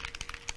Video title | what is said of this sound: Spectrum Noir Stamp & Colouring 101 with Leann Chivers | that's the little ball bearings inside so you just give it a good shake give it a good mix